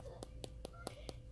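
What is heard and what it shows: Tapping on the cork footbed of an old pair of Birkenstock sandals produces five short, dry clicks. The clicking shows the cork is dry and needs to be resealed.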